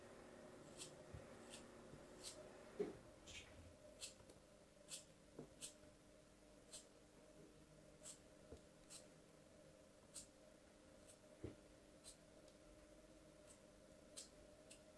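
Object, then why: Compacted kinetic sand block cut with a metal blade. A metal craft blade slices and scrapes through a small, solid, compacted block of green glittery kinetic sand held in fingers with long yellow-painted nails. Repeated cutting strokes make short, crisp, scratchy cuts with a bright hiss that die away quickly over a quiet low hum.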